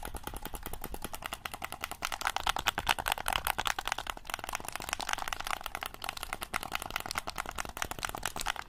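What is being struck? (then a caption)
Plastic game controller. A black plastic game controller is held in both hands while fingertips repeatedly press its buttons and tap its shell. The result is a rapid, continuous stream of short, dry plastic clicks and taps, bright in tone with little low end. The tapping grows a bit louder and denser around the middle before steadying out.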